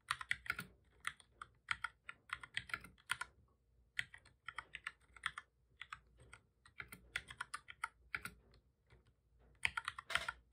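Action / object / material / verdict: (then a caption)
tap / plastic computer keyboard / plastic / none. Both hands type steadily with their fingertips on a full-size black plastic keyboard with a hollow body, resting on a desk. The repeated key taps are quick, dry, bright clicks that die away almost instantly, with little low end. They come in rapid bursts separated by short pauses.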